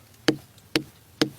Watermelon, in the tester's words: if you hear a dull hollow sound like this, it's probably ready